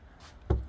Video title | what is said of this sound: Prepping for New Sliding Pocket Doors! #getuswet #carlgaller | it's block here and then it's you can hear it's hollow here